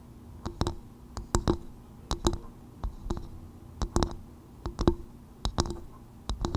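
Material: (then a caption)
Coconut shell. Long white nails tap in irregular bursts on the outer shell of a small, hollow, empty polished brown coconut-shell bowl turned upside down over a fur-covered microphone. Each tap gives a sharp click over a short, hollow tone around 340 Hz that dies away almost at once.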